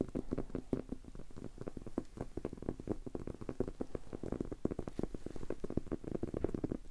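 A solid, maroon leather-covered book is held in the hands and tapped on its cover with fingertips and short nails. The result is a rapid, continuous patter of soft, dry, low thuds with almost no ring.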